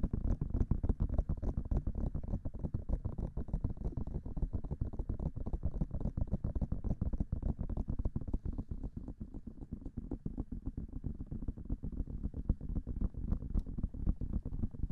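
Fingertips and long nails tap fast on the hollow white silicone ear covers of a binaural microphone, held close with both hands. The result is a dense, continuous patter of short, deep, muffled thumps with almost no ring and almost nothing high, at an uneven pace of roughly three and a half taps per second.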